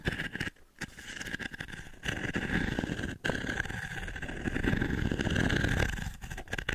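Long nails scratch across the dense short pins of a small, light, octagonal wooden-frame pin brush held above the microphone. The result is a continuous, grainy scratching rustle with a steady mid-range hiss and a heavy low rumble, broken by brief near-silent dips around 0.6 and 3.2 seconds.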